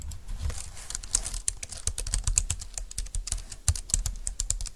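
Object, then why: Plastic wireless keyboard. Both hands type with fingertips and long nails on a compact, thin, dark-green plastic Bluetooth keyboard lying on a desk mat. A rapid, uneven run of short, bright plastic clicks and taps plays over a soft low thump, each keystroke dying away almost instantly.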